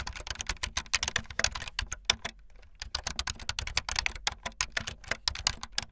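Fast typing on a full-size backlit plastic Bluetooth membrane keyboard with white and blue plastic keycaps and a hollow plastic body, the keys pressed with fingertips and the tips of long painted nails. Rapid, dry, bright clicks and clacks come in quick bursts, with a brief pause near the middle. Each keystroke stops almost instantly, leaving only a faint low thud under the high clatter.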